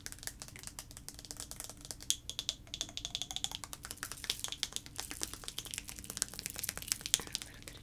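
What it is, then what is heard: Plastic liquid-filled sensory tube. A clear plastic sensory tube with blue end caps, about 20 cm long and filled with liquid and small colorful floating shapes, is held in both hands and shaken and tapped with fingertips and nails. The result is a quiet, steady stream of quick, dry, bright clicks and ticks over a faint low hum, with a few sharper taps standing out.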